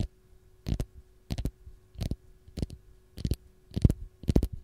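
Long gold fingernails scratch the peel of a single whole raw fresh lemon held in the hand. The result is seven short, dry, scratchy bursts at a steady pace, each weighted toward low, soft rustle with brief brighter edges, separated by near silence over a faint steady hum.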